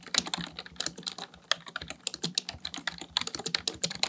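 Fingertips type steadily on a full-size black plastic computer keyboard. A rapid, uneven run of short, bright clicks and taps follows, each dying away almost instantly, with very little low end beneath them.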